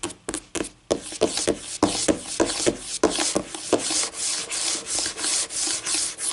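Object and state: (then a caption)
Laminate tabletop scratched with nails. Long painted nails scratch and rub across a flat, solid white laminate tabletop. A few quick, sharp taps give way to steady back-and-forth strokes, each a bright, hissy scrape with almost no low end. The strokes swell and fade in a loose rhythm.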